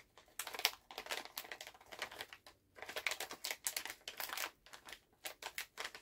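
A full Halls plastic cough drop pouch is held in both hands while fingernails tap on it, then the hands bend and crinkle the bag. The result is a dense run of quick, dry, bright crackles and clicks with brief pauses between bursts, and almost no low end.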